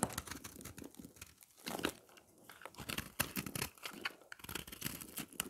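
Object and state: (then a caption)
Dry soap bar scraped with a knife. A round, solid slab of dry, pressed, green and yellow recycled soap is held in the hand and scraped with a knife blade. The scraping gives a quick run of dry, crunchy, crackling scratches with a bright, papery texture. Crunchy flakes come off the bar.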